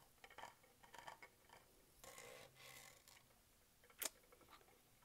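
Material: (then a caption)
Plastic. A dark metallic-green Starbucks tumbler of hollow plastic with a raised grid texture, lid and straw on, is held in hand while fingernails scratch and tap across the grid. Quiet, bright clicks and taps are heard alongside two longer raspy scratching strokes. One sharp, louder tap stands out near the end.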